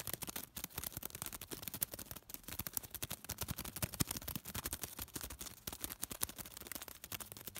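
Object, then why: Small folded piece of thin paper. A small folded piece of thin white paper is crinkled, pinched and rubbed between fingertips. The result is a quiet, continuous stream of rapid, dry crackles and snaps, each very short, spread from low rustle up to a bright, crisp top.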